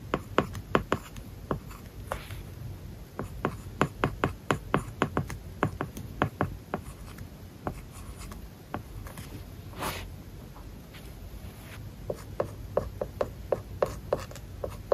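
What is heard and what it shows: A stylus writes on an iPad screen covered with a matte plastic paper-like film, producing quiet, dry ticks and short scratchy strokes across the surface. The crisp taps come in quick bursts, ease into softer rubbing in the middle, then pick up again near the end.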